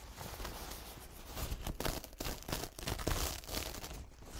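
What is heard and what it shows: A single thin, soft white textured paper towel stained with green, grey and blue paint dots is held up and unfolded with the fingertips of both hands. It gives off soft crinkling and rubbing sounds in a quick, uneven series of rustles.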